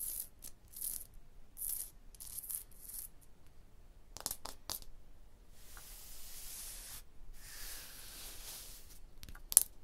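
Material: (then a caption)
Limestone. Long blue fingernails tap and scratch on a porous solid limestone block wall. Sparse, short, bright clicks are separated by quiet gaps, and two longer hissy scratching passes run through the middle. One sharper tap stands out near the end.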